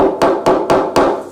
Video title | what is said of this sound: Surface Laminate Repair | If you tap on the bad laminate, it's a much different sound.